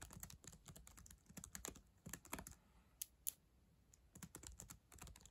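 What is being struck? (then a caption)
Plastic laptop keyboard keys tapped with long acrylic nails. Long acrylic nails type on the plastic keys of a black ThinkPad laptop keyboard, making quick, bright clicks and clacks with soft thumps underneath. The taps come in uneven bursts separated by brief pauses, each one short and dry, with a few sharper, louder clicks standing out.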